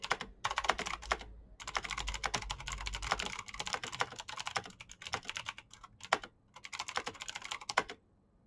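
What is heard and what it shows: A black plastic backlit mechanical keyboard with clicky switches is typed on quickly with the fingertips of both hands. Rapid bursts of sharp, bright clicks, each dying away almost instantly, are broken by brief pauses and end in quiet.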